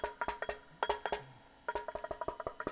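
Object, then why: Wooden electric guitar body. Knuckles knock along the back of a wooden Telecaster electric guitar body with its strings removed, picked up through the guitar's pickup to test whether the vibration comes through. A rapid series of short, hollow, woodblock-like knocks in two bursts sounds around a mid pitch, with a brief reverb tail, and the tone shifts slightly as the knocks move along the back. The vibration comes through the pickup clearly.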